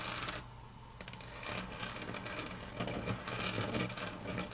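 Long natural fingernails click and tap on a large, flat, solid grey wood-grain laminate tabletop. Quick, irregular, bright clicks come in clusters over a low background hum.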